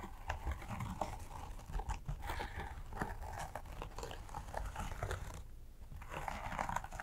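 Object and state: Embroidered fabric bag being scratched.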